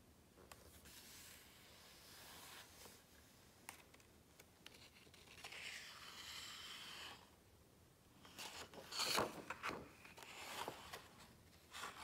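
Fingertips rub and scratch across the glossy paper pages of a large open hardcover book. Soft, continuous rasping and brushing builds and fades, then a louder cluster of crisp scratches comes near the end, with the sound mostly bright and airy and little low end.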